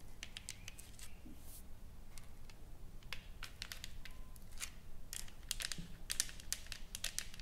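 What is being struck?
Painted wooden plaque.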